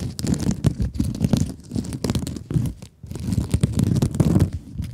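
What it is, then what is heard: Mesh scrub sponge scratched with nails. A rectangular blue sponge with woven scrub mesh, held in both hands, is scratched with long nails. The result is a dense run of rough, crinkly scratching bursts, weighted low and muffled, with a brief quiet gap near the middle.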